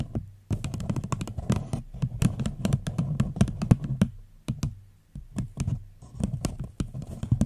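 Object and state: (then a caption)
Empty paper cup. Fingernails tap rapidly on the sides of an empty paper cup held over a microphone. The result is a fast, uneven run of dry, hollow taps with a bassy body and sharp bright click edges that stop almost instantly, with a couple of brief pauses before the tapping picks up again.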